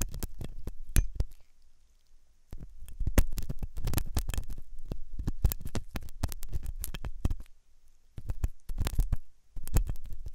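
A metal dental pick scrapes inside the hollow ear canal of a white, soft silicone ear on a binaural microphone. It makes close, rapid bursts of rough scratching and crackling, heavy in low rumble, broken by short quiet pauses.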